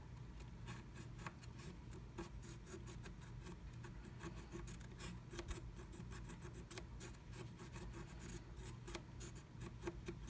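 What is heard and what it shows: A wooden stylus scratches flat black scratch art paper inside the letter E cut-out of a blue plastic stencil, which the other hand holds in place. Soft, continuous rasping strokes are broken by brief bright scratchy ticks over a steady low hum.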